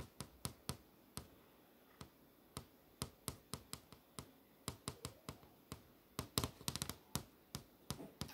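A single fingertip with a long nail taps repeatedly on the solid flat panel of an LCD monitor screen showing a movie grid. Each tap is a short, dry, sharp click that dies away almost instantly over a quiet background. The taps are spaced irregularly and then bunch into a quicker, louder flurry near the end.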